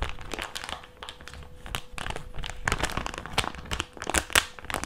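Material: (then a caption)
Plastic. A white plastic mask pouch is bent, folded and crinkled with the fingers of both hands. It gives dense, bright crinkling and crackling, with short snapping peaks over a steady rustle.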